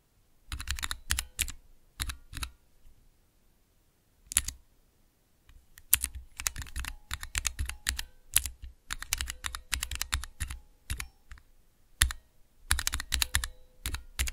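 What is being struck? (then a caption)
Plastic mechanical key switches with keycaps. Long fingernails and fingertips press and tap the clear plastic keycaps of a small, hollow plastic switch tester fitted with Cherry MX switches, resting on black cloth. Bursts of rapid, clattering key clacks, each with a dull low thock and a bright, short click, are separated by brief quiet pauses.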